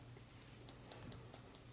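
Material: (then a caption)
Glass. A small Christmas snow globe with a tiny snowman inside is tapped lightly. Five quiet, bright taps sound at a steady pace over a low background hum, each with a brief ring.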